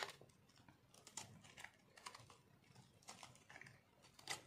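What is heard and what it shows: A metal knife scrapes crunchy shavings off a solid, pink, speckled dry soap bar held in one hand. Short, dry, crackling scrapes come in quick bursts, bright and crisp with little low end and almost no ring. A few louder scrapes stand out near the start, middle and end.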